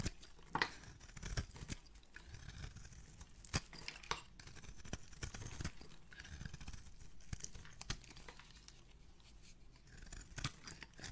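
A metal razor blade scrapes and carves the surface of an oval blue solid soap bar with a dark rim, held in a hand with dark painted nails, peeling off shavings. Soft, crinkly tearing and scraping sounds are broken by sharp, bright clicks and crackles as the blade cuts in. The result is a quiet, dry, close-up texture.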